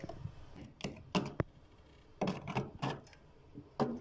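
A hand scrapes a thick, soft white layer of frost (solid ice crystals) coating the inner wall of a freezer with a small white plastic scraper, carving lines and chunks off. Short, crunchy scraping strokes come in quick bursts, separated by quiet pauses, with a dull low body and brief bright crackle at the start of each stroke.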